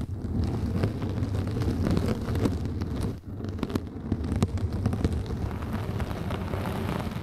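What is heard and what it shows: A round yellow synthetic mesh sponge with a hanging loop, draped over the microphone, is scratched with long nails and rubbed with fingertips. It makes a dense, continuous rustling scratch dominated by low, muffled rumble, with a brief drop in level just past three seconds before the scratching resumes.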